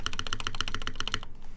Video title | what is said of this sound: gaff.60 hhkb Build Stream | it sounds tinny. Yeah, it sounds hollow.